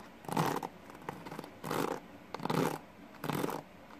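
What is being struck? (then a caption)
Plastic paddle hairbrush with pin bristles. Fingertips rapidly rake and flick the pin bristles of a green plastic paddle hairbrush held in one hand. Four short bursts of dry, scratchy rasping are heard, each with broadband texture from low-mid up to bright highs, separated by quiet gaps.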